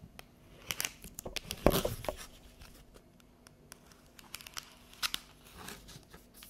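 Long yellow nails tap and scratch across the chevron ridges of a thin, hollow, empty clear plastic chocolate tray held upright in the hand. Quick, dry plastic clicks and crinkly scrapes come in bursts, with the loudest crackling flurry near the start before the taps thin out to lighter, scattered ticks.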